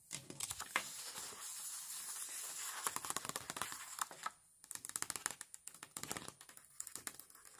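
Fingertips with long nails, one wearing a metal claw ring, rub and smooth paper stickers onto a page of a flat paper and cardboard sticker puzzle book lying on a marble table. The result is a dense run of bright, crinkly scratching and quick dry taps, with a short pause partway through before the rubbing resumes.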